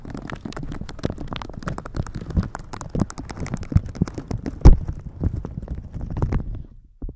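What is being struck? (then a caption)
Thin plastic shower cap. Red silicone-bristle gloves rub and brush a thin, crinkly plastic shower cap stretched over a microphone. The result is a dense stream of close, muffled crinkling and scratchy brushing, heavy in the low end, with one sharper crackle partway through. It thins out near the end before a final brief rustle.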